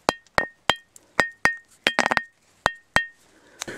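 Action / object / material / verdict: strike / quartz rock with pyrite veins / quartz / metallic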